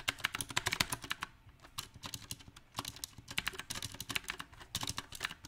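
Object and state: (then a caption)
Mechanical keyboard with round plastic keycaps. Fingertips of both hands type on a small 68-key backlit mechanical keyboard with round typewriter-style plastic keycaps on a silver metal plate. The result is bright, sharp clacks with almost no ring, arriving in uneven bursts with brief quieter pauses between flurries.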